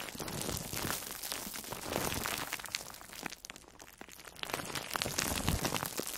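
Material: Foam, plastic film.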